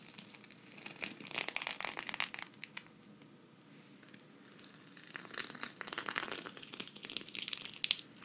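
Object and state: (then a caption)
Sequin fabric patch. A flat, thin, hand-sized green sequin cactus patch, held at the left, is scratched with long red nails. Bursts of bright, crinkly scratching come in two main spells, separated by a quieter pause around the middle. The sound is dry and high, with almost no low end.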